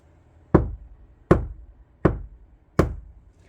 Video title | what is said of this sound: 카오디오 튜닝. 재료 고유 주파수 특징, 스피커 인클로저 튜닝, 스포티지 nq5 패리 카오디오 작업 2-5 Car audio tuning Material Frequency | 그 하우링 그 잔양이 거의 발생하지 않고 어, 직접과 반사음이 동시에 들리는 뜻하고 약간 뒤에 뒤에서 직 반사음이 들리죠. 근데 그 목질의 소리 어, 목질의 소리가 납니다.